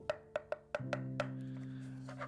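Six sharp taps on a Maono BA92 aluminum microphone boom arm give short, hollow, pitched knocks around 600 Hz that ring out almost at once. After the fourth tap, a low steady hum sets in beneath the rest. The hollow sound shows the arm is hollow inside, so cables can be run through it.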